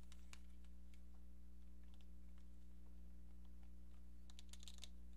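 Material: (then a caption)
Plastic. Long painted nails tap on a hand-sized, hollow pink plastic cordless phone handset with a keypad, producing quick, light, bright clicks. The clicks come in loose bursts, clustering toward the end, over a steady low hum.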